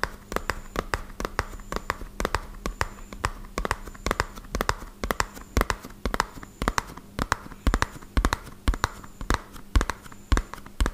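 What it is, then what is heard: Cardboard box tapped with fingertips. A small, hollow, white-and-purple printed cardboard medicine box is held in one hand and tapped fast with fingertips and short nails. The result is a quick, uneven stream of short, dry, hollow taps and thuds with sharp nail clicks, each dying away almost instantly.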